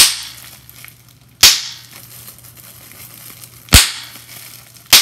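A clear plastic bubble wrap sheet has its bubbles pinched and popped with fingers, giving three sharp, bright pops spaced about a second or two apart. Each pop fades quickly into quiet crinkling over a faint low hum, and the clip opens on the fading tail of an earlier pop.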